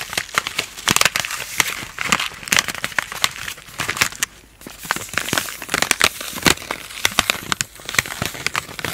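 A palm-sized, sealed plastic-foil instant cold compress pack, full of liquid and granules, is held in both hands and crinkled and scratched with long painted nails and fingertips. Dense, bright crinkling and sharp crackles come in quick bursts with almost no low end. Each snap dies away instantly, leaving a continuous crunchy rustle.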